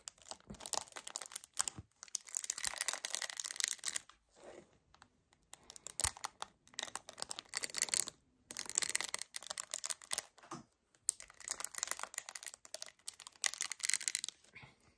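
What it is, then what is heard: Paperboard carton. Both hands grip, squeeze and nail-tap a hollow 1 L white paperboard kefir carton. The result is bursts of dry, bright crinkling and crackling with quick, sharp taps, separated by brief pauses, with almost no low end.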